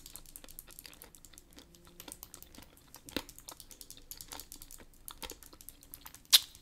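A small hollow pink plastic lipstick tube with a gold decorative emblem is held in a gloved hand and tapped and scratched with long acrylic nails. The sound is a quiet, dense run of quick, bright clicks and scratchy crinkles with almost no low end, each tick dying out instantly. One sharper, louder tap stands out near the end.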